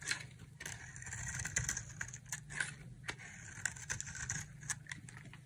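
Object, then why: Bar of soap shaved with a knife blade. A solid green dry soap bar with an orange-coated rim is held in the hand and shaved with a utility knife blade. The carving makes a series of bright, crisp scraping and crackling strokes, with short sharp clicks between the shavings over a low steady hum.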